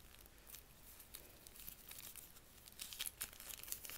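A single sheet of thin white lined notebook paper is held in both hands, unfolded and crushed back into a small ball, with the fingers squeezing and rubbing it. It gives quiet, bright crinkling and crackling that stays mostly in the high range with little low end. The crackles grow denser and louder toward the end.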